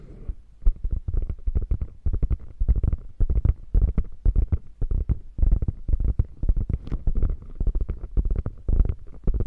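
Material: Faux leather.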